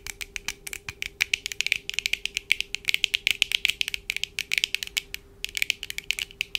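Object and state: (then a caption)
Plastic-framed eyeglasses tapped with nails. Long dark acrylic nails on both hands tap and scratch the lenses and frames of black plastic-framed eyeglasses worn on the face. The result is a fast, irregular stream of dozens of sharp, dry, bright clicks centered around 2.3 kHz, with almost no low end and a steady faint hum underneath. There is a brief pause just after the five-second mark before the tapping resumes.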